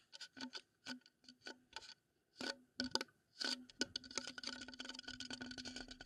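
A wooden bowl is tapped and scraped as an ASMR trigger. Soft, separate, crisp taps with short pauses come first, each with a dry, bright click and a faint hollow low-mid tone. In the last two seconds they turn into a quick, steady flurry of tapping and scratching.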